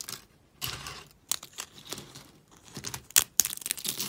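Fingers with long pink nails snap and crush a pile of thin, pastel, dry soap shards on a white surface. Crisp, bright crackling crunches come in irregular bursts, with a few sharper snaps near the end and almost no low end.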